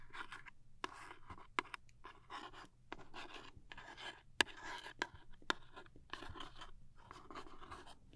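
Long nails scratch and tap across the surface of a small, closed, printed cardboard toothpaste box. Soft, bright, papery scratching bursts are punctuated by sharp, dry taps that stop instantly with no ring. The sound stays quiet and close throughout.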